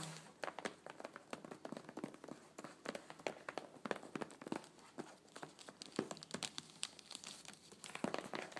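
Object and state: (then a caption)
Paper-wrapped cardboard box. Long painted nails tap and scratch the top and edges of a flat, rectangular, closed, hollow cardboard box wrapped in checkered paper. The result is a quiet, dense stream of quick, crisp clicks mixed with papery scratching and crinkling. Each hit dies away almost at once, and the sound sits mostly in the mids and highs with very little low end.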